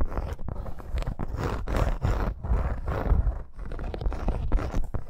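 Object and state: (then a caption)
Embossed faux leather bracer. Long acrylic nails scratch rapidly over a dark red snake-embossed faux leather wrist bracer with metal eyelets and studs, lying flat on pink fur. It makes a dense, low, rough scraping that surges in quick pulsing bursts with short gaps and no ring.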